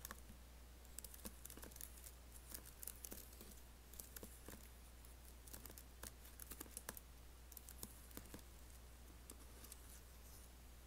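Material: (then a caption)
Plastic. Fingertips type on an Apple laptop keyboard with black plastic keys and an aluminium body, while nails scratch along the space bar. Quick, quiet, bright clicks and taps come in irregular bursts over a steady low hum, each dying away almost instantly.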